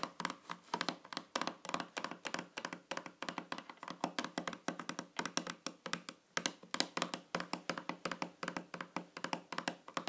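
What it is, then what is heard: Round metal tin lid. Long fingernails tap quickly and steadily on the top of a small, shiny, round metal tin or lid lying flat on a table. The result is a dense run of short, dry clicks with a faint metallic tone around 290 Hz and a bright edge. Each tap dies away almost at once.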